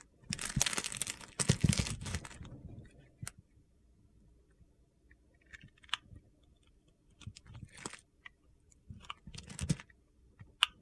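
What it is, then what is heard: Bar of soap being carved. A metal blade slices and scrapes cubes off a solid yellow soap bar held in a palm by red-nailed fingers. A dense, gritty crunching runs for the first few seconds, then gives way to scattered crisp cuts and dry clicks with quiet gaps between them.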